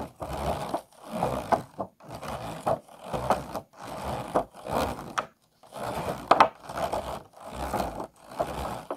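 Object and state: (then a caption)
Clear plastic food container, scratched along ridges. Medium fingernails scratch quickly along the ridged sides of an empty, hollow, disposable clear plastic food container. The result is a series of short, raspy scraping bursts separated by brief pauses, centered in the midrange with a few faint bright clicks.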